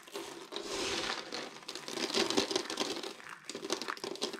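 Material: Soap.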